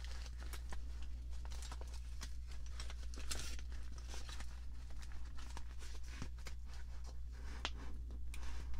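A clear, crinkly plastic package full of assorted paint brushes is held in both hands while long nails grip, squeeze, scratch and shift it. Dense, sharp crinkles and the brushes rattling inside come in quick bursts that reach high, bright tones, all over a steady low hum.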